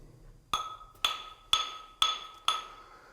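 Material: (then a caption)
Rock. Five sharp taps on the rock wall of an old gold mine drift, done as scaling to check for loose rock. Each tap gives a bright, high ring that fades quickly, with almost no low thud. The clear, solid ring means the rock is sound.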